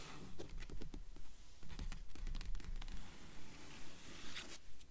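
Long nails and fingertips scratch and tap the paper pages of an open blue book lying on a table. Quiet, quick taps and dry scratching strokes follow one another in a loose, fairly steady rhythm, with a soft low thud under each tap and faint papery hiss between them.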